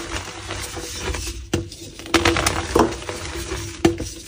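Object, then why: Dyed gym chalk block. A solid, palm-sized, grey/black-dyed gym chalk block is held in both hands and crushed and crumbled with fingertips and nails into grey powder. Dry, gritty crackles and sharp snaps ring over a low rumble, with brief tonal ringing around 340 Hz. The loudest cracks land near 1.5, 2.2, 2.8 and 3.85 seconds.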